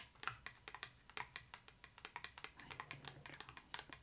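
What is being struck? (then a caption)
Cardboard pop-up book page. Long acrylic nails tap rapidly on the raised cardboard creature and glossy thick pages of an open pop-up book. The result is a quick, uneven run of short, dry clicks with bright, crisp tops that die away almost instantly. The taps are quiet against a faint low hum.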